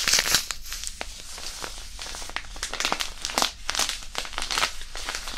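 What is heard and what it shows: A small white disposable hand warmer, a non-woven fabric pouch filled with iron powder, is squeezed and crinkled in both hands above the microphone. The result is dense, bright crinkling and crackling with many short, sharp bursts over a faint low rumble.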